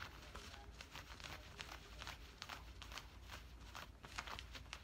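Fingertips and nails scratch and rub the woven cotton fabric of worn camouflage cargo pants near the pocket. Quiet, dry, bright scratchy bursts come in quick, irregular strokes over a steady low rumble.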